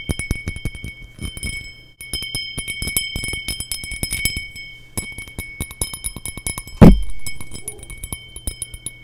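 A small, empty, hollow cut crystal glass tumbler with a faceted pattern is held in the hands near the microphone and tapped with long nails. It gives a rapid run of short, bright clicks and clinks over a faint, steady high tone. One louder, heavier knock stands out near the end.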